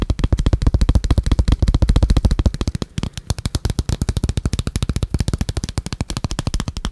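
A small, hollow, black folio-style plastic phone case is held in the hands, opened and closed, and tapped and scratched with fingertips and short nails. About 57 short, dry, low, thumpy taps come in a fast, uneven stream with almost no ring. The taps soften briefly near the middle before picking back up.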